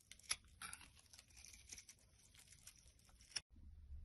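A black utility blade shaves curls off a solid white bar of soap held in the hand. Quiet, bright scraping and crisp crackling come in short strokes, with a few sharper snaps. The scraping cuts off abruptly near the end, leaving only a low, faint rumble.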